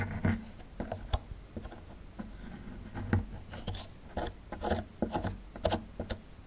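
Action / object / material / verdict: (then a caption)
scrape / small plaster block / plaster / none. A small metal chisel tool scrapes along the lower edge of a small, solid plaster fossil excavation block. The clip is a quick series of short, dry, raspy scrapes, each with a soft low knock and a brief bright grit. Quieter rubbing fills the gaps between strokes.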